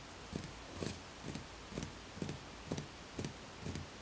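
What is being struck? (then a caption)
Ceramic plant pot filled with soil. Fingertips tap the outer wall of a small speckled beige ceramic plant pot, filled with soil and a small green plant and standing on a white stack. Eight soft, dull taps come at a steady pace of about two per second, each a low thud with a faint bright click. Each tap dies away almost at once.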